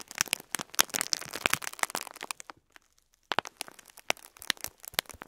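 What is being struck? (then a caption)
Clear plastic bag of plastic pearl beads. Fingertips repeatedly press and crinkle a full clear plastic bag of cream plastic faux pearl beads. Dense, bright crinkling and sharp clicking crackles come in quick bursts, with very little low end. The sound drops to near silence for about a second midway, then the crinkling and clicking resume.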